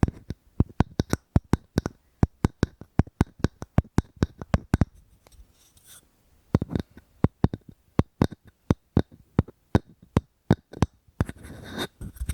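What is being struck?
Wooden object.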